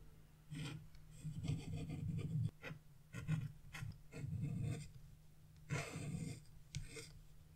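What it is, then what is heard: Wax-coated scratch-art paper being scraped. A chisel scrapes the black wax coating off a scratch-art page, revealing a red area and leaving coating crumbs on the paper. Scraping and rubbing strokes come in uneven bursts, each a dry, rasping sound with a steady low hum beneath and faint, bright grit on top.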